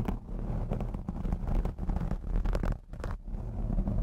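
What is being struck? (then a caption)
Foam microphone windscreen. Long blue acrylic nails on both hands scratch the black foam windscreen of a Blue Yeti X microphone. The result is a continuous, muffled, low rumbling scrape with dense crackly texture and almost no high end, its loudness rising and dipping briefly as the strokes change.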